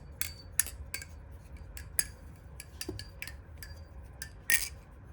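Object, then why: Metal balisong knife. About a dozen sharp, bright metal clacks, each dying away at once, from a balisong being flipped.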